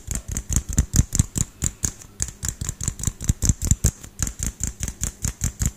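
A small household LED light bulb with a hollow, frosted pinkish-white plastic dome is held in one hand and tapped quickly with the fingertips and nails of the other hand, close to the microphone. About 27 rapid, slightly uneven taps each give a dull, low thump topped by a bright plasticky click and die away almost at once.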